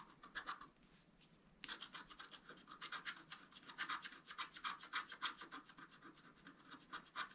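A wooden stylus scratches fine strokes through the black coating of a scratch-art card, a flat sheet of black-coated board with a colored foil layer beneath, held flat on a table. Short, bright, rasping scrapes repeat at an uneven, fairly quick pace, with a brief quiet pause near the second mark before the strokes resume.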